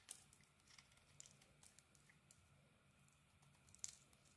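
An orange bar of soap has its edges sliced and carved with a small metal blade held in the fingers. Quiet, bright scraping and crisp slicing ticks come in short bursts, with two sharper cuts standing out near the start and end.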